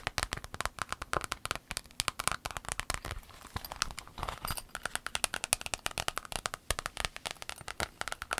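An empty rainbow clear vinyl pencil case is folded and crinkled, then tapped with long acrylic nails. The result is a rapid stream of dry, bright clicks and crackles with almost no ring, over a softer crinkling rustle in the middle.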